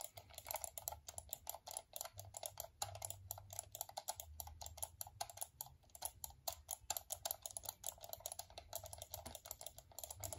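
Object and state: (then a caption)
Plastic computer mouse clicks. A small, hollow, black plastic wired computer mouse is held close while a fingertip clicks its buttons in rapid, uneven bursts. The clicks are short, dry and bright, with almost no ring, over a faint low hum.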